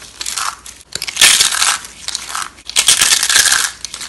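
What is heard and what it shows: Bare fingers squeeze and crush handfuls of small, hollow rolled curls of dry bar soap in orange, green and white, piled on burlap. The curls crunch and break into flakes with a dense, bright, dry crackle that has almost no low end. The crunching comes in two long surges separated by brief pauses.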